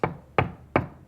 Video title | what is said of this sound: Creating Safer Homes Together - The Wall Anchoring Guide | If the sound is hollow, it's made with studs.